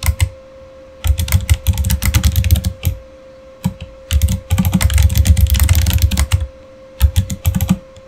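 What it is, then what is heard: Plastic mechanical keyboard being typed on. Fingertips type steadily on a backlit Razer mechanical keyboard with plastic keycaps, producing bursts of rapid, deep clacking keystrokes separated by short pauses. The clicks are thick and low, with a faint steady tone humming underneath throughout.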